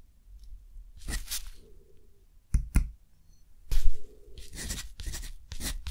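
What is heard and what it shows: A metal dip-pen nib scratches across a thick, rough-textured cotton paper sheet lying flat and held by the fingers of the other hand. Bright, dry scratching strokes come in short bursts with brief pauses between them, over a faint low rumble.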